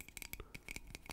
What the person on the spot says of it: this is what a lighter sounds like when you tap on it